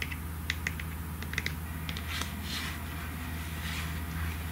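Long nails tap on the cap and sides of a pink plastic lotion bottle, making a loose series of light, bright clicks and ticks. A steady low hum runs underneath throughout.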